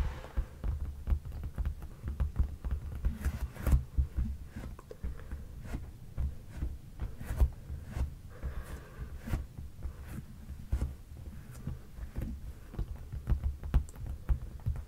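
Flat fingertips tap and rub the dark padded leather seat cushion of a sofa near its seam. A long, uneven series of soft, deep, muffled thumps sits over a low steady hum around 59 Hz, with quick brushing rubs in between and almost nothing bright.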